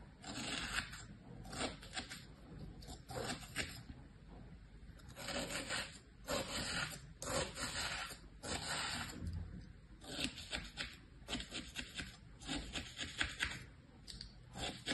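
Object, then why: Kinetic sand in a plastic tray. A thin pointed tool drags and scratches through flattened tan kinetic sand in a green plastic tray, working around the shapes pressed into it. The sound is a quiet, dry, gritty scraping that comes in repeated bright, hissy strokes with brief pauses between them.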